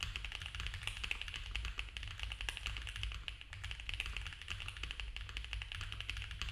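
Both hands type fast with their fingertips on a compact mechanical keyboard with cream ABS keycaps, a dark case, a polycarbonate plate and foam filling. The result is a rapid, continuous stream of short, crisp plastic taps with a bright clack centered around 2.6 kHz, each dying away almost instantly. A steady low rumble sits underneath throughout.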